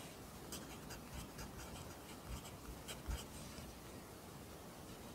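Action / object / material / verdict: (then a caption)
scrape / graphite pencil on a paper notebook page / paper / none. A pencil writes Korean handwriting in an open lined paper notebook, its graphite scratching the paper in soft, quiet strokes. Short bright scratches rise over a steady low hush, with a few slightly louder taps and strokes near the middle of the clip.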